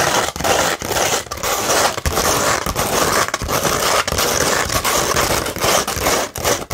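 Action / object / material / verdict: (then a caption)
scrape / sandpaper sheet / sandpaper / none. Long red nails scratch the gritty side of a sandpaper sheet, which is partly curved and then laid flat. The result is a steady, loud, bright rasping scrape broken by brief dips as the strokes change direction.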